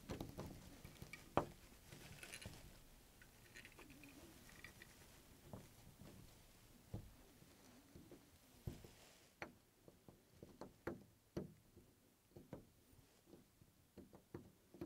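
One bare hand holds a round chrome-finish metal door knob on a wooden door, slowly turning and jiggling it so the knob and latch mechanism rattle. The result is a quiet series of short, dry clicks and light metallic taps over a soft, low background rustle, with the clicks growing sharper and more spaced out toward the end.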